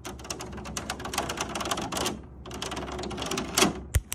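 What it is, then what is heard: Perforated metal air purifier front panel. Long nails tap and scratch quickly across the large white perforated metal front panel of an air purifier, a sheet with a grid of round holes over a hollow housing. Dense, rapid clicking taps with scratchy hiss run for about two seconds, pause briefly, then resume. A louder scrape follows, and the clip ends with a sharp, low thump.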